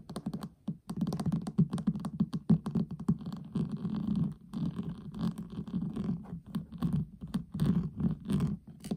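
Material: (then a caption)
Metal. Fingertips and short nails of both hands tap and scratch fast on the pink lid of a flat, hollow metal tin eyeshadow palette lying on a table. The result is a dense, uneven run of quick, dull, hollow knocks mixed with soft scraping, with a low resonant body around 150 to 200 Hz and almost no bright high end. The sound carries on with only brief pauses throughout.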